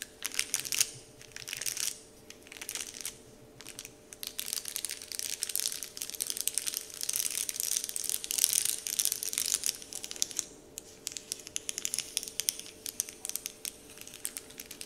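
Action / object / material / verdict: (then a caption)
scrape / printed wrapper sheet / unknown / none. Palms press a large, flat, heart-shaped "Dove" printed wrapper sheet lying on a table while fingertips scratch and crinkle it. The result is bright, crisp crinkling and rustling that comes in dense bursts separated by brief quieter pauses, over a faint steady hum.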